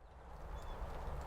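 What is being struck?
Nothing is struck.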